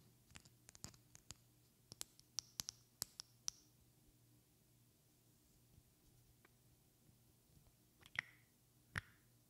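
Long red-painted fingernails tap and scratch a small, partly filled glass perfume bottle with a white cap. About sixteen sharp, bright clicks come in an early cluster and then sparser later taps, the last two ringing briefly with a clear glassy tone near 2 kHz. A faint low hum sits underneath.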